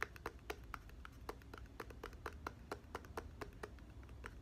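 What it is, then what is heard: Plastic bottle cap tapped with fingernails. Fingertips and nails tap and scratch the clear plastic cap of a red-filled plastic body mist bottle. About two dozen quick, dry clicks with a hollow tone near 1.8 kHz sound over a soft low rumble, each dying away almost instantly.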